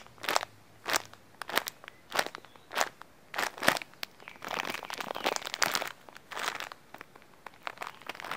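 An orange printed plastic cookie package is held in both hands while fingers squeeze and crinkle the wrapper. Short, bright, crunchy crackling bursts come in quick, uneven succession, then merge into a denser stretch of continuous rustling before breaking back into separate crinkles. Each crackle stops almost instantly, with little low end beneath it.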